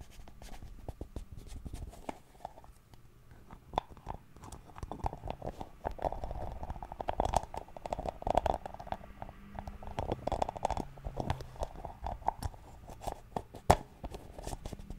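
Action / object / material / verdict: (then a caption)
tap / small round plastic cream jar / plastic / none. Fingernails tap and scratch a small round white plastic Nivea cream jar, making a steady stream of quick, dry clicks over a soft scratchy rustle. The taps have a hollow midrange tone around 700 Hz, with a faint low rumble underneath, and a few sharper, louder clicks stand out.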